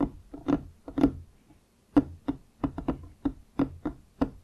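Wooden objects are tapped and knocked in an irregular rhythm, making fourteen short, dry knocks with a woody low-mid tone around 280 Hz. Each knock dies away almost at once, leaving brief silences between taps.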